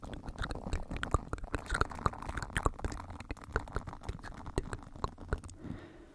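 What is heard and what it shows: Fingertips rub and scratch the bristles of an oval green silicone body scrubber close to the microphone. A steady low, rumbling rustle is broken by quick, sharp scratchy clicks that come in an uneven rhythm. The sound softens into a faint hiss at the end.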